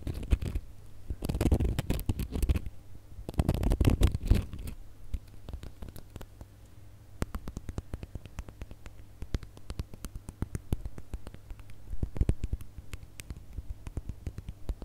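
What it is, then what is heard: Glitter-coated plastic star ornament. A gold glitter plastic star ornament is held in one hand while fingernails scratch and rub over the glitter. Two dense bursts of crackly rubbing come early, followed by a long run of quick, dry, irregular scratchy ticks. A faint steady low hum near 100 Hz sits underneath throughout.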